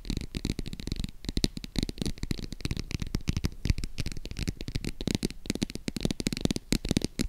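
Long acrylic nails rapidly tap and scratch a small, hollow, green faux crocodile-embossed leather zip wallet held in the hands. The result is a dense, continuous stream of short, dull, low thuds mixed with bright, crinkly scratching textures, each tap dying away almost instantly.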